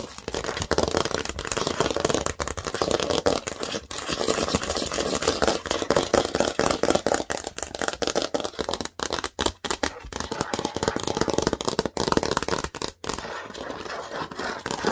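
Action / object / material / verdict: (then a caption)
scrape / thin plastic baseplate with studs / plastic / none. Long nails scratch and tap across the studs of a large, thin, green plastic Lego baseplate. The result is a dense, continuous stream of dry, scratchy clicks and rattling scrapes, centered in the midrange with bright hiss, each tick dying almost instantly. The texture breaks into a few brief pauses near the end.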